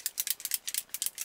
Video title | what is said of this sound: Foundation Face-Off: Revlon PhotoReady Airbrush Mousse vs. Maybelline Dream Nude Airfoam | you can hear the bead in there to mix it up